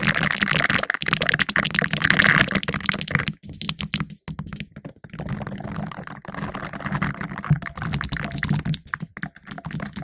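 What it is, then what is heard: Metal mesh microphone grille being scratched. Two green silicone finger brushes worn on the fingertips scratch and rub the round, hollow black metal mesh grille of a condenser microphone. The result is dense, bright, crackly scratching with a low rumbling undertone. It is loudest and busiest in the first three seconds, then turns quieter and more broken up, with brief gaps between bursts of rubbing.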